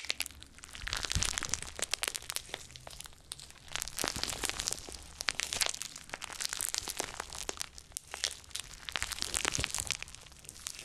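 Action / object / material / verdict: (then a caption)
scrape / handful of glitter slime / slime / none. A handful of soft, solid and pliable gold glitter slime is squeezed, folded and stretched between both bare hands over two pencil microphones. It makes a dense run of sticky, bright crackling and popping sounds that swell and ease in waves.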